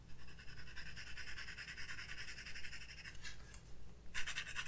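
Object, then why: Graphite pencil on paper sketchbook page. A graphite pencil, held in the fingertips, shades and scratches across a spiral-bound sketchbook of white drawing paper lying flat on a wooden desk. It makes a quiet, continuous, bright rasping of rapid short strokes over a faint low hum. The strokes thin out briefly near the end, then resume with a louder burst of scratching.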